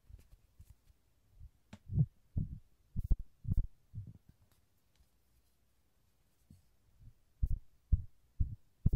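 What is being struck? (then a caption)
Soft vinyl horse toy. A yellow, hand-sized, hollow soft vinyl Rody bouncing-horse toy is held by hand next to the recorder and tapped with fingertips. This gives irregular groups of dull, hollow, low-pitched thumps, with a quiet pause in the middle of the clip.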